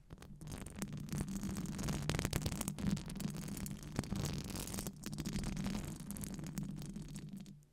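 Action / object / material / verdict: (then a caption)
scrape / metal wire-mesh microphone grille / metal mesh / none. Long acrylic nails scratch and tap across a hollow metal wire-mesh microphone grille, producing a dense, continuous rasping texture over a low, resonant hum around 140 to 200 Hz. The scratching stays steady with brief sharper taps, dips briefly near the middle, then resumes before fading out at the end.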